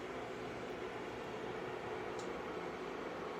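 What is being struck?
Nothing is struck.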